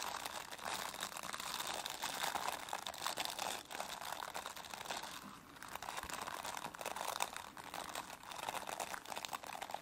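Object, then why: Plastic bristle brush. Long nails scratch and rub the dense plastic bristles of a plastic brush, producing a steady, close crackling scratch with bright crinkly texture and a slight dip in the middle before resuming.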